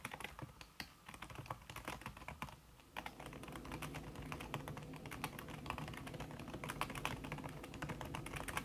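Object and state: Keyboard with silicone key cover, fast typing.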